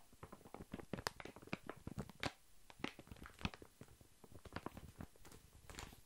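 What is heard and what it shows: Long fingernails scratch and tap a large, full, soft pack of baby wipes wrapped in thin printed plastic film, held in the hand. A quiet, rapid series of dry, crinkly crackles and clicks follows, with brief bright snaps over a soft low rustle, each tap dying away almost at once.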